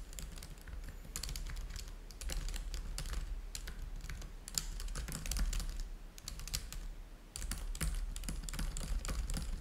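Fingertips type on the keys of a black plastic laptop keyboard. A steady run of quick, bright plastic clicks plays over a low background rumble, with brief lulls before the typing picks up again. Each keystroke is short and dry, with no ring.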